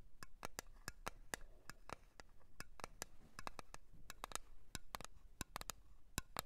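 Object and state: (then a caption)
Cream jar tapped. A blue cream container is tapped in a quick, irregular run of sharp, dry clicks that die out almost instantly, each with a bright top. The taps sit over a faint low rumble in an otherwise quiet background.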